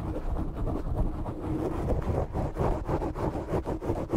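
Short nails scratch the sides of a black foam microphone windscreen, producing a continuous, muffled, low-heavy scraping rumble. The rough strokes repeat in quick, uneven pulses, with almost nothing in the high range.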